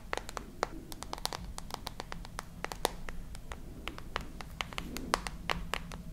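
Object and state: Nails tapping a glass and metal smartphone.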